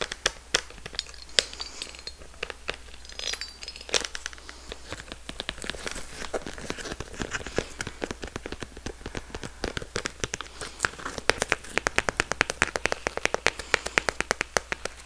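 Long red nails tap and scratch a small, closed, hollow pink floral-print synthetic leather handbag with a gold metal clasp, close to the microphone. The result is a steady stream of dry, sharp clicks and bright, crinkly scratching with no ring, over a faint low hum. The taps grow quicker and denser toward the end.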